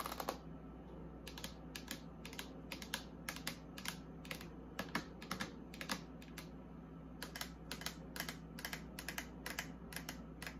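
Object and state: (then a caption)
Plastic fridge door liner tapped with nails. Long acrylic nails rapidly tap and scratch the white ribbed plastic inner liner on the open door of a small, empty mini fridge with shelves. Quick, dry, bright clicks come in uneven bursts over a steady low hum, and each tap dies away almost instantly.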